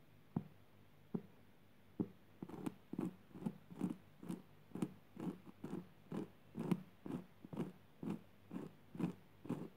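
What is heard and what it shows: Long purple fingernails scratch and tap the coarse fibers of a flat woven jute burlap fabric lying on the floor. About 21 short, dull, muffled taps and scratches come at an uneven pace of roughly two per second. The sound is low and soft with no bright edge, and each one dies away almost at once.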